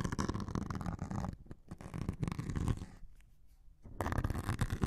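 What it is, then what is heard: Melamine foam sponge being scratched. A metal needle scratches and pokes the grey scouring layer on top of a hand-sized white melamine foam sponge held close over the microphones. The result is dense, low, rumbling scratches with short, dry crackles. The sound thins out to a quieter, softer stretch near the end before the busy scratching returns at full strength.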